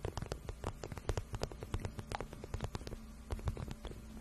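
Long nails scratch and tap the soft, hollow shaft of a glossy pink patent vinyl boot. The result is a quiet, dense run of quick, dry clicks and brushing scrapes over a low, hollow rumble that has almost no bright content.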